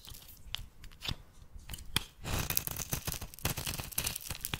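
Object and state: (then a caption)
Bar soap being shaved. A metal blade shaves curled flakes from the edge of a solid oval bar of purple soap held in the hand. Short, crisp scraping and crunching strokes come in quick succession, with a brighter, denser stretch of shaving in the second half.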